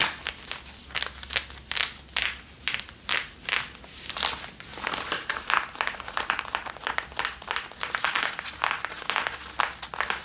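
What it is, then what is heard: Denim jeans being scratched. Long nails and fingertips scratch and rub the back pockets and waistband of worn blue Levi's denim jeans. The result is a rapid string of dry, bright, crinkly scratching bursts with almost no low end. The strokes come in distinct pulses at first, then blur into a denser, continuous rasp.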